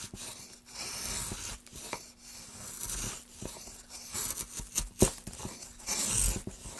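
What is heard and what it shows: Gloved hands cut a groove into a solid pine plank with a wooden-handled gouge. Bursts of bright, hissing scraping and shaving come in uneven strokes, with short sharp clicks where the blade bites, the loudest near the end.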